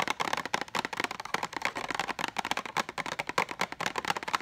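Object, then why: Cardboard box of pens. Long nails rapidly tap and scratch an orange printed cardboard box of Bic pens, hollow and still holding pens. The result is a dense stream of dry, crisp clicks and scratches centered in the mids and upper mids, with almost no low end and no ring after each tap.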